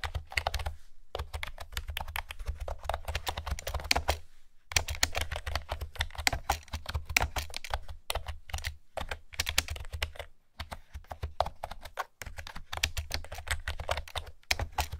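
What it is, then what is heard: Hollow-sounding plastic round-key keyboard. Fingertips with long nails type on a pastel plastic retro keyboard with round keys, giving rapid, hollow, bright clicks over a steady low hum. The dry, fast-decaying clatter runs in bursts, broken by brief pauses around 1, 4.5, 10.5 and 12 seconds.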